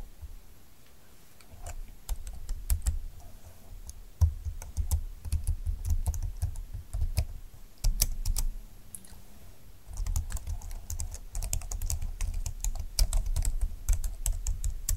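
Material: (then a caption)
Plastic. Fingertips with long nails type on a full-size plastic scissor-key keyboard with a silver plastic frame and dark flat keys, resting on a desk mat. Rapid, short, bright clicks with a low, hollow plastic thump come in bursts, with brief pauses between runs of typing.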